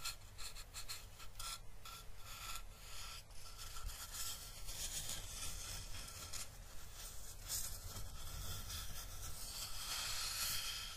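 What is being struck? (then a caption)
Flat driftwood piece. Fingertips rub along the grainy surface of a flat, elongated, weathered piece of solid driftwood, about hand length and held in both hands, while a second driftwood piece lies untouched nearby. The result is a steady, soft, dry rasping with a bright hiss on top and a low rumble underneath, swelling slightly as the rubbing continues.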